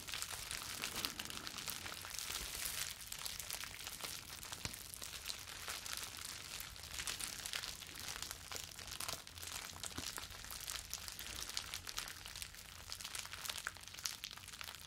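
Clear plastic bubble wrap is bunched in both hands and crumpled and rubbed with the fingers. A continuous, bright crinkling and crackling runs throughout at a steady quiet level, with dense, closely packed snaps and rustles.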